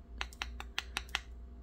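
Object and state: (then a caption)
Sintered aluminum piece that holds together and sounds metallic. A small microwave-sintered aluminum piece is tapped six times in quick succession, each tap giving a short, bright metallic click that dies away almost instantly over a low steady hum. The piece holds together and sounds like metal, though it seems to lack the full strength expected of aluminum, likely needing a longer hold time.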